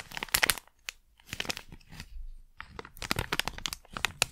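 A small sealed plastic Blu Tack pouch is crumpled, crinkled and scratched with long nails. Bright, dry crinkling and crackling comes in dense bursts of sharp snaps, separated by brief pauses and a softer stretch of scratching near the middle.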